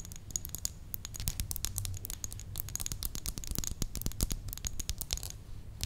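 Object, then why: Faceted glass perfume bottle. Long nails rapidly tap and scratch the facets of a faceted red glass perfume bottle with a clear cap and a ribbon, held in the hand. Dense, sharp, bright clicks and scratches stop almost instantly, over a steady low hum.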